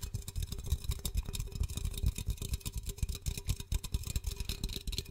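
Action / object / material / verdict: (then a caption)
tap / aluminum drink can / aluminum / none. A blue Pepsi 330 ml aluminum can, hollow and likely closed, is held in one hand while short-nailed fingertips tap and scratch its side. Rapid, irregular soft taps run continuously with deep low thumps, a faint steady tone, and bright scratchy texture on top.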